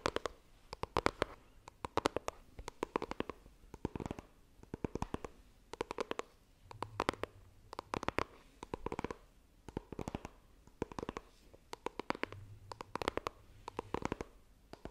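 Long nails tap and scratch the lid of a small, hollow white iPhone retail box made of coated cardboard, held near the microphone. Quiet bursts of rapid, sharp, dry clicks come in clusters, with soft scratchy rustles between them. Each tap dies away almost instantly, leaving a faint hollow papery body.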